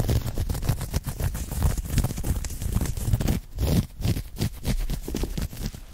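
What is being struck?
Knit cotton polo shirt.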